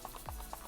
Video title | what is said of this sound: 💜 Unboxing 225 Rainbow Blind Bags & Blind Boxes!! Labubu! Mini Brands! Doorables! | when you shake it, it sounds like a moraca